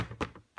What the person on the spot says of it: on est quand même sur du carton assez dur